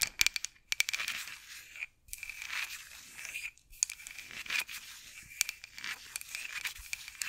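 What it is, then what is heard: Wooden rolling pin, scratched and tapped. Long acrylic nails scratch and tap a solid, light wooden rolling pin with handles held over the mic. The result is a bright, dry run of crisp clicks and raspy scratches with almost no low end, broken by a few brief silent gaps.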